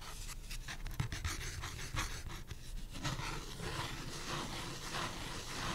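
A thin printed pulpboard beer coaster, held in the hand, has its face and edge scratched with fingernails. The result is a dense, continuous rasping with brief sharper scrapes and a soft low rumble underneath, growing slightly fuller toward the end.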